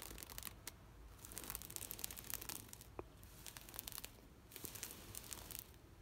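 Long nails scratch across a large, thin sheet of green knitted plastic shade mesh netting. The result is bursts of dry, bright, crinkly scratching and rasping with quieter pauses between them.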